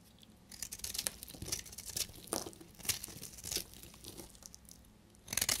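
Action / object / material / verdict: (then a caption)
scrape / bar of soap shaved with a knife blade / soap / none. A solid, translucent red bar of dried soap is held in the hand and shaved with a utility knife blade. Each stroke gives a bright, crisp scraping crunch in short, quick bursts with near-silent gaps between them, and flakes crumble off.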